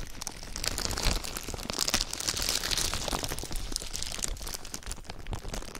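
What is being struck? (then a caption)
Thin clear plastic film. A thin, clear plastic sheet laid over a microphone is scrunched and rubbed by fingers. It gives a steady run of dense, bright crinkling and sharp crackles over a low, close-up rumble, swelling and easing for about six seconds without pause.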